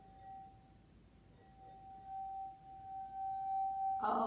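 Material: Glass.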